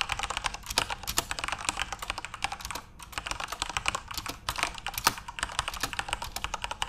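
Continuous fingertip typing on a backlit plastic RGB keyboard produces a rapid stream of sharp, bright clicks and clacks with very short decay. The typing pauses briefly near the 3-second mark before resuming at a steady pace.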